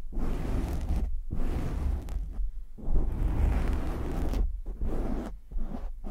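Short nails and fingertips of both hands scratch quickly and roughly over the soft, porous black foam windscreen on a large USB microphone. The result is a dense, muffled, low rumbling scrape with almost no high end, running in sustained bursts broken by brief near-silent gaps.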